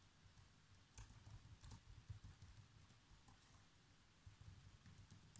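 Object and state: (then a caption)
Plastic laptop keyboard. Fingertips type on the black plastic keys of a laptop keyboard in steady, continuous typing. The keystrokes are quiet, soft, low thumps with faint, bright clicks that stop quickly, with a few slightly louder taps standing out.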